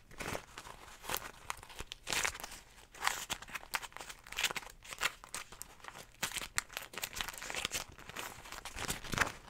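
A small folded beeswax food wrap, made of cotton fabric coated in wax with a flower print, is held in the hands and crinkled and scratched with long nails. The result is dry, bright crinkling and crackling, mostly high-pitched with little low end. It comes in quick irregular bursts, with short scratchy strokes between them, for about ten seconds.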